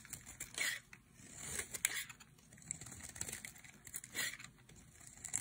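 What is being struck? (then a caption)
Bar of soap cut with a knife blade. A solid turquoise bar of dry soap, held in the hand, is carved into strips with a utility knife blade. Dry, bright scraping and crumbly shaving sounds come in uneven strokes with soft crackles between them. The soap is cut away in thin strips.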